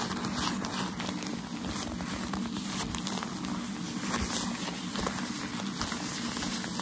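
A folded bundle of white tissue paper used for shoe packaging is held in both hands while fingernails scratch it and fingers rub and crinkle it. The result is a steady, dense crinkling and rustling with a bright, hissy texture and a soft low rumble underneath, with no talking.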